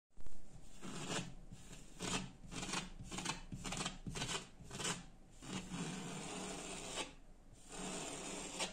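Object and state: Laminated interior door.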